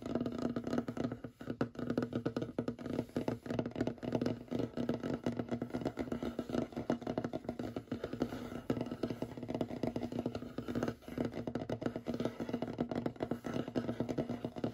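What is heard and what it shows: Short fingernails rapidly tap and scratch across a large, solid, light wooden tabletop, with the hands close by. The sound is a dense, continuous stream of quick, dry clicks and scrapes with almost no ring, carrying a steady woody tone around 250 Hz and little bright content.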